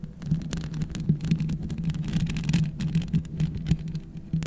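Long red acrylic nails scratch and tap all over the hollow metal mesh grille of a black USB microphone, using both hands. The result is a dense, continuous stream of close, rapid scrapes and light taps over a low, steady hum around 160 Hz. Thin bright clicks flicker above it throughout, and the hits blur together without clear gaps.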